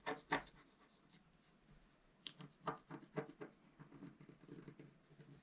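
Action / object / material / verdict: scrape / black-coated scratch art paper scraped with a wooden stylus / coated paper / none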